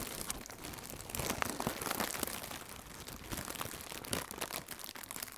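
Both hands with red-nailed fingertips squeeze and crinkle large, thin blue plastic AIRplus shockproof air cushions, which are hollow and filled with air. The result is a dense, continuous stream of bright, crackling plastic crinkles at a fairly steady level, with a few sharper crunches standing out.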